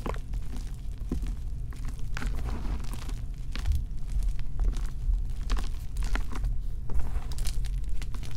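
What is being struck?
Magnesium carbonate gym chalk blocks.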